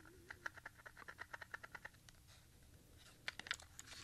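A small, hollow Maxell XLII compact cassette with a grey opaque plastic shell and a white label strip is held in both hands and turned over while fingertips tap and click the shell. A quick run of sharp, dry plastic clicks centred around 1.6 kHz gives way to a quieter pause of soft handling, then a final cluster of brighter clicks, about 18 short taps in all at a low overall level.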